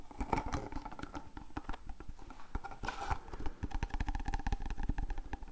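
Fingernails rapidly tap and scratch a small, hollow, printed cardboard Voltadol medicine box held in the hands. The result is a dense run of short, dry, low thuds with a faint hollow ring around 900 Hz, and a brief scratchy rustle near the middle.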